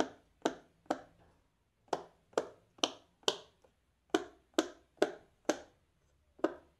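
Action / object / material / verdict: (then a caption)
tap / silicone pop-it fidget toy / silicone / none. A fingertip in a black lace glove presses the hollow bubbles of a large square rainbow silicone pop-it fidget toy row by row. Eleven short, sharp pops sound at an uneven pace, each with a bright snap and a very quick decay.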